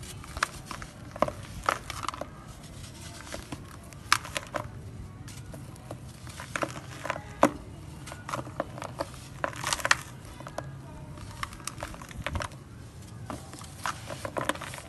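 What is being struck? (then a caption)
Grey sand crumbled by hand. Bare fingers scoop loose, dusty dry grey sand with small clumps, possibly a sand-cement mix, from a red plastic tub and crumble it as it falls back in, raising visible dust. The sound is a soft, continuous gritty crinkle and hiss, broken by many sharp, dry crackles and ticks as the clumps break apart.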